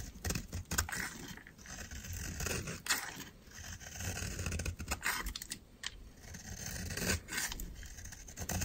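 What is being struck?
Bar of soap scraped with a metal blade.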